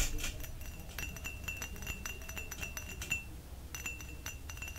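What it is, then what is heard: Glass cup tapped with fingers and nails. A small, clear, hollow drinking glass, apparently empty, is held in both hands close to the microphone and tapped and clinked with the fingers and nails. It gives a quick run of bright, glassy clinks and taps with a short ringing tone near 2.8 kHz, over a faint low rumble.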